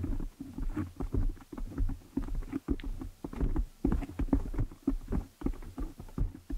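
Long nails scratch and fingers rub a black foam windscreen on a desktop microphone. The result is a steady run of muffled, boomy thumps and dull rustling scrapes, heavy in the low end with almost no bright content, each burst dying away quickly.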